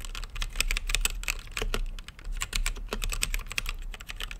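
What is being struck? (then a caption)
Mechanical keyboard, plastic keycaps, acrylic case. Fingertips type continuously on a plastic mechanical keyboard with plastic keycaps mounted in a translucent acrylic case. A rapid, uneven stream of sharp, bright clacks follows, each keystroke dying away almost instantly. A steady low hum sits beneath the typing.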